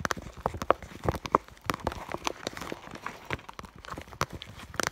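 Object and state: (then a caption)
Clear vinyl school bag. Long nails tap the front of an iridescent clear vinyl (holographic PVC) school bag around its fur heart patch. The result is a quick, irregular run of crisp, dry clicks and light plastic ticks, some with a brief mid-pitched ring, that die away almost instantly.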